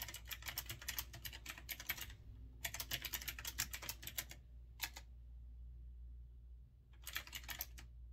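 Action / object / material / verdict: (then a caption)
tap / mechanical keyboard with round plastic keycaps / plastic / none. Fingertips type steadily on a retro typewriter-style mechanical keyboard with round, backlit keycaps. Bursts of rapid, bright clicking keystrokes come in runs separated by pauses. A faint low hum sits underneath throughout.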